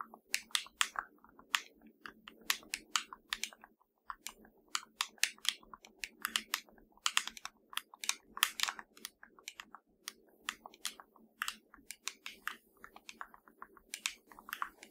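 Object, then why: Plastic TV remote control. Long nails on both hands tap rapidly across the button area of a hollow black plastic LG TV remote. The taps come as bright, sharp, dry clicks in uneven bursts that die away almost instantly, over a faint steady low hum.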